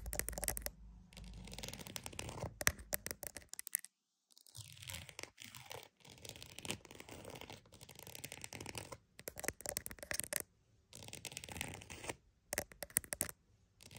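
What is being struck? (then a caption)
Croc-embossed leather purse. A croc-embossed purse is tapped and scratched with quick, dense, bright scratching and tapping across its textured surface. The strokes come in bursts separated by a few brief silent pauses.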